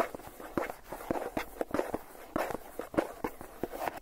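Fingertips and nails tap rapidly on the lid of a hollow Philadelphia plastic cream cheese tub with its lid on. The quick, irregular taps give short, dry, hollow plastic knocks with a mid-pitched tone around 340 Hz and almost no ring.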